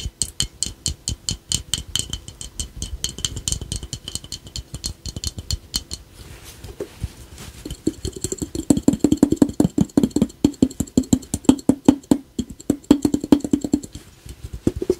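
A small hollow glazed ceramic ladybug piggy bank, red with black spots and a yellow face, is held in both hands and tapped on its shell with the fingertips. Rapid, steady taps give bright, clicky clinks at first, ease off briefly around the middle, then return louder with a hollow, resonant mid-low tone ringing under each short tap.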